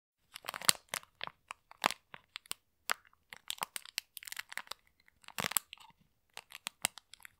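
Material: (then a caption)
Plastic, polystyrene. A small, full, clear plastic packet of pink polystyrene foam beads is squeezed and crinkled by gloved fingertips in both hands. Irregular bursts of bright, dry crunching and crinkling come with short pauses between them. Each burst cuts off almost at once, with no ring and very little low end.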